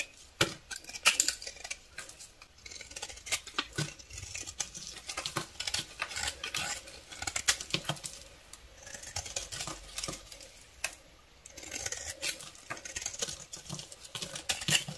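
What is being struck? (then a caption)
Soap bar shaved with a blade. A solid pale beige bar of soap with traces of red glitter, held in one hand, is shaved with a utility knife blade, and the shavings fall onto a pile of shavings. The result is a rapid, uneven run of crisp, bright scraping and crackling sounds with short pauses between strokes.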